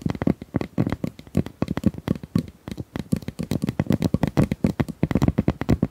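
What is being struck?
Corrugated plastic pop tube.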